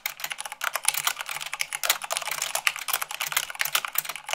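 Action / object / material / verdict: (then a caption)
tap / plastic mechanical keyboard keys / plastic / none. Fast typing with fingertips and long nails on white plastic keycaps of a black mechanical keyboard, at about 98 words per minute. A dense, rapid stream of bright, sharp plastic clicks and clacks with very short decay, and almost no low end.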